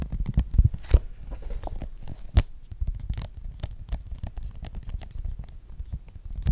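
Fingertips and short nails tap and scratch the cover of a large closed blue vinyl-covered ring binder with a hard board inside, held upright in front of the mic. The sound is a quick run of dull, low-heavy taps mixed with brief scratchy, crinkly strokes. Sharp clicks with bright edges stand out among them, and each hit dies away almost at once.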